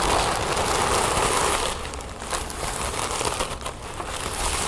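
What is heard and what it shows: Crumpled orange-copper tissue paper on a wooden table is crinkled and pressed flat by fingertips and long nails. A dense, bright crinkling fills the first part of the clip, then eases into a quieter run of scattered crackles and rustles.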